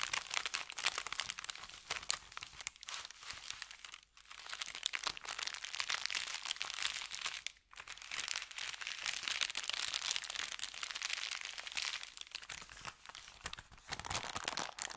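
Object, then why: Kraft paper bag. Fingertips scratch and crinkle an empty brown kraft paper bakery bag lying flat on felt. The result is dense, bright, crackling rustle with almost no low end, broken by two brief near-silent pauses around 4 and 7.5 seconds.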